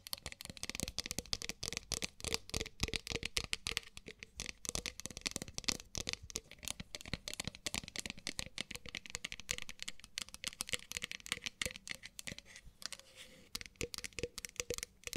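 A hollow, empty, pale pink matte ceramic mug held in the hands is scratched and tapped on its outer surface with long nails. The result is a dense, steady stream of quick, bright clicks and scratchy rasps with almost no ring, over a faint low hum.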